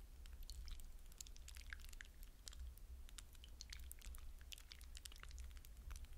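Fingertips press and stir through wet blue hydrogel water beads in a glass bowl, making a dense, continuous stream of soft squishes and bright, wet clicks. A steady low hum sits underneath the quiet, even squishing throughout.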